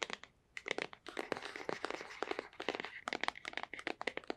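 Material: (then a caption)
Cardboard. A small, hollow, white printed cardboard box is held in one hand and tapped with long white-painted nails. Quick, irregular bursts of sharp, dry, clicky taps alternate with a brief scratchy, crinkling texture. The sound is bright, with almost no low end, and each tap dies away instantly.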